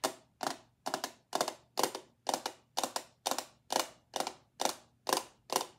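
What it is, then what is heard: Glass perfume bottle. A small, clear, solid-walled glass perfume bottle, held in the hand and mostly empty, is tapped and scratched with long acrylic nails. Thirteen bright, crisp clicks with a light scratchy texture come at a steady pace of about two per second, each fading quickly, over a faint low hum.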